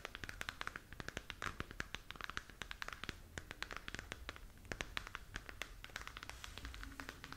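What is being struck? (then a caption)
Hollow plastic sphere lamp. A glowing, hollow plastic galaxy moon lamp is held in both hands while long nails scratch its surface. The result is a quiet, rapid stream of sharp, dry scratching clicks and taps with a bright crackle and almost no ring.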